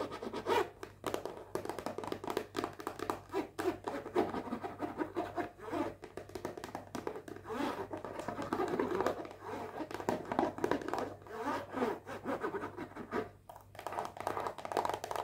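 Long painted fingernails rapidly scratch and tap a small rectangular hollow cardboard perfume box still in its cellophane wrap. The result is a dense run of crinkly, dry scratches and quick hollow taps that die away almost instantly.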